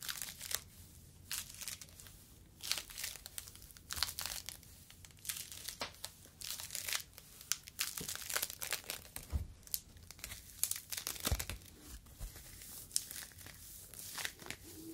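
A yellow foam fruit protective net, a mesh sleeve, is crumpled with the fingertips close to the microphone. It gives a steady stream of soft, dry crinkling and crackling bursts, mostly high and bright with very little low end. The crackles stop instantly with no ring.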